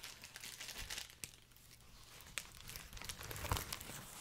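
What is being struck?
Plastic bubble wrap strip.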